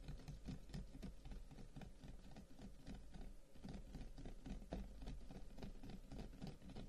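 A long, hollow carved wooden incense box lies on a table and is tapped rapidly with the fingertips of both hands, like typing. The result is a steady, dense patter of soft, low, hollow wooden knocks with short decay, which continues throughout.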